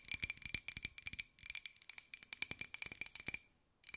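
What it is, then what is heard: Ceramic jar tapped with fingernails. Long nails rapidly tap and scratch a small, hollow white ceramic jar with a pink and gold pineapple print, producing bright, clicky ticks with a steady high ring. The taps come in quick bursts with a brief pause near the end before they start again.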